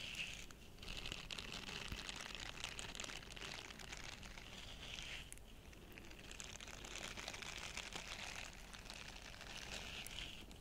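A small, flat, purple heart-shaped silicone cleansing brush with soft bristles, solid and hand-sized, is held in both hands while fingertips rub and scratch across its bristles. The result is a quiet, steady, dense crinkling scratch with a bright, hissy texture that continues without pause.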